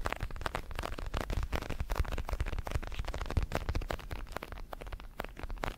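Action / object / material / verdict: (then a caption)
tap / padded synthetic leather boxing glove / synthetic leather / none. Fingertips tap and scratch the surface of a large red padded boxing glove made of synthetic leather, hollow with foam padding and held in both hands. A rapid, steady stream of soft, dull thumps with a deep, low body is heard, mixed with light scratchy rustling and very little high brightness.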